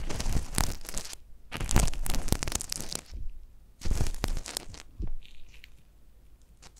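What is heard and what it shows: A long thin metal needle on a wooden handle, held in a gloved hand, pokes and scratches inside the canal of a life-size hollow silicone ear model with a microphone capsule in it. Close, crackling scrapes and crunchy rustles come in bursts with brief quiet gaps between them, heavy in low rumble with bright crackle on top.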